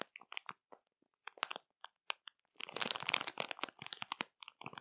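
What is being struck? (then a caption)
Plastic marshmallow bag. Long matte nails scratch and press a full, printed plastic marshmallow bag, giving sharp, bright crinkles and crackles. Sparse separate crackles in the first half build into a dense, continuous crinkling from about 2.6 seconds, then break back into quick clusters before the end.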